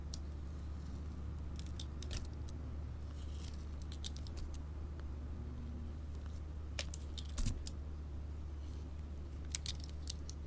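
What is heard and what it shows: A craft knife blade shaves and scrapes curled strips off a small, solid, rectangular bar of layered orange and red soap with a gold glitter strip, held in the hand. Quiet, crisp, bright scraping and crackling bursts come in clusters over a steady low hum.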